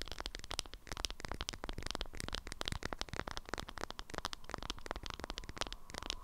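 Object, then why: Waxed cotton wrap around a flat object. A strawberry-print beeswax wrap around a flat object is held upright in both hands while long nails tap and scratch the waxed cotton. Rapid, crisp clicks and papery scratches run continuously over a low rumble, each tap stopping dry and short.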